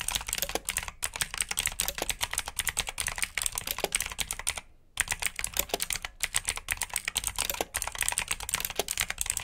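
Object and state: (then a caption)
Mechanical keyboard with clicky blue switches. Both hands type quickly with their fingertips on a black plastic RGB mechanical keyboard with blue switches. It makes a dense, steady stream of sharp, bright, clicky keystrokes that die away almost instantly. A brief pause comes just before the midpoint, then the rapid typing resumes.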